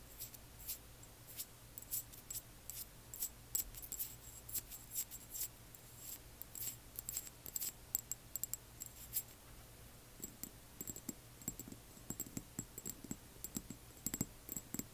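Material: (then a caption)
Glass. Long nails tap and scratch on a small frosted amber glass serum dropper bottle filled with liquid, moving between the glass and its paper label. Quick, bright clicks repeat throughout over a steady low hum, and the second half adds softer, duller scratches.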